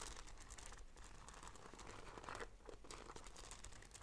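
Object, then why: Fabric bag strap with beaded braid. Long nails scratch along the strap of a black fabric bag with a gold beaded braid. The result is a quiet, continuous run of dense, crinkly rasping and fine ticking over a steady low rumble, with a brief brighter flurry midway.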